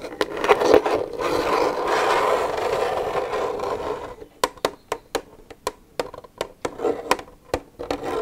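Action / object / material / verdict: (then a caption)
scrape / plastic milk jug / plastic / none. Long nails scrape across an empty, hollow plastic milk jug for about four seconds, giving a steady midrange rasp broken by a few sharp clicks. The nails then tap the jug in a run of quick, separate hollow ticks with short gaps between them.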